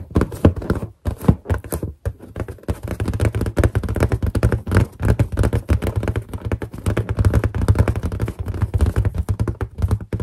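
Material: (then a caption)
Latex. Long painted nails tap rapidly on the surface of a large, hollow, inflated white latex balloon with a character drawn on it. The result is a fast, dense run of dull, low thunks with a boomy hollow body and very short decay, broken by a few brief pauses.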